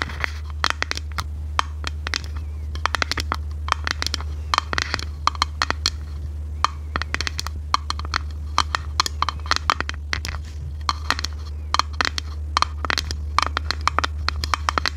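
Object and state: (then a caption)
Plastic case tapped and scratched with nails. Long red nails tap and scratch a small, hollow, transparent ridged plastic case, making rapid, dry, bright clicks and short scratchy bursts. The crisp taps die away almost instantly, over a steady low hum.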